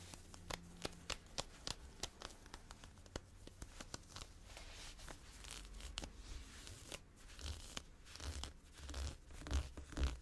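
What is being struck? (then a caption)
Ribbed nylon-spandex stretch shorts. Long blue-painted fingernails scratch olive ribbed nylon-spandex stretch workout shorts being worn, dragging across the soft thin fabric over the body. Quick, irregular scratches give dry, bright rasping strokes over a low rumble, with no ring afterward.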